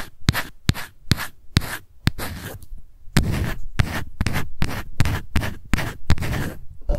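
Long white nails scratch the lid and label of a small, light-blue, round plastic Innisfree No-Sebum Mineral Powder jar held in both hands. The result is a run of quick, dry scrapes and sharp clicks with bright edges and a low rumble underneath, each stroke stopping dead with no ring.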